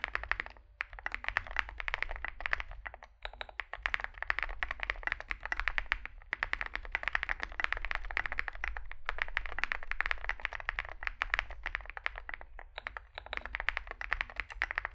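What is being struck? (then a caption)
Mechanical keyboard with plastic keycaps. A small 65% mechanical keyboard with a dark case and white and grey SA plastic keycaps is typed on continuously with fingertips. The result is a steady stream of short, bright, clacky keystrokes with almost no ring. A faint low hum sits underneath, and there are brief pauses between bursts.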